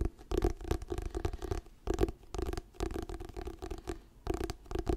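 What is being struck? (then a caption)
Paperback book with glossy paper cover. Fingernails scratch the glossy paper cover of a solid, orange "Diary of a Wimpy Kid" paperback book held upright in both hands. Bursts of dry, rasping scratches repeat with short pauses between them, carrying a dull low body and a faint tonal hum near 350 Hz.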